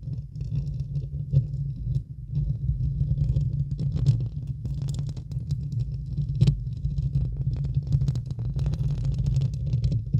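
Long acrylic nails scratch and tap directly on the hollow, domed steel-mesh grille of a large silver Blue Yeti USB microphone. The result is a steady, muffled, low rumbling scrape with dense soft taps, a few louder knocks poking out, and almost no bright content.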